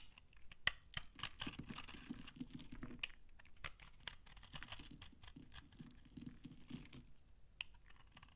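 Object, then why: Laundry soap bar. A utility knife blade scrapes crunchy flakes off the end of a solid, dry brown laundry soap bar held in the hand. Quick, dry crackling scrapes come in an irregular run, each with a bright, crisp edge over a soft low rustle, and a few sharper snaps stand out.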